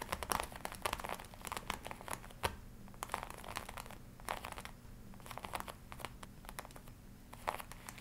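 Long nails scratch and fingertips rub the chest panels of a glossy black leather jacket worn on the body, crinkling the leather. The result is a dense run of short, dry crinkles and scratchy bursts centered in the midrange, with bright edges over a faint steady low hum.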